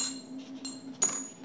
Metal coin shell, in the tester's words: ça sonne moins bien qu'une vraie pièce par contre voyez quand on les manipule là